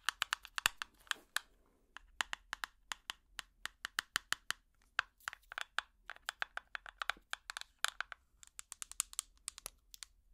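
A small, empty clear plastic tub with an orange lid is tapped quickly with plastic finger picks, giving around fifty sharp, dry clicks in uneven bursts. Each tap is bright and hollow, centered near 2.8 kHz, and dies away almost instantly with no low end.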